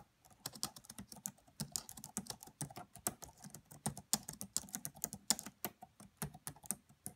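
Long nails and fingertips type quietly on the black plastic keys of a red laptop. About 39 short, bright tapping clicks come in an irregular rhythm, each dying away almost at once, with a light lower thud under some strokes.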